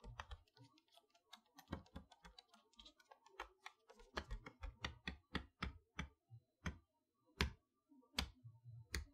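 Long-nailed fingers tap the front panel and window area of a large cardboard chalkboard toy box held upright. Irregular, crisp clicking taps each carry a short, dull low thump beneath them.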